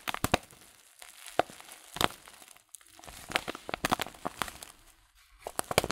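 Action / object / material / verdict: scrape / filled paper tea packet / paper / none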